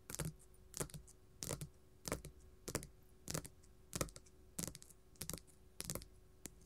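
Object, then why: Glitter faux leather sheet on a table. Gold metal filigree claws tap and scratch a flat pink glitter faux leather sheet lying on a table. Short, bright scratchy bursts with a soft low thump repeat roughly every half second against a quiet background, each dying away almost at once.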